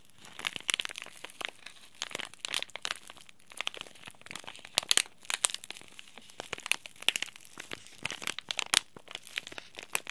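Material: Plastic foil.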